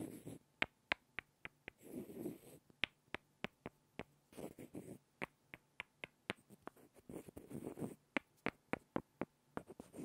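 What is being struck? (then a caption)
Two small wooden blocks. Two small, solid light-wood blocks are tapped and rubbed together by hand, giving 22 sharp, dry clicks that stop almost instantly. Between the taps come short, scratchy bursts of rubbing with a soft low-mid grain.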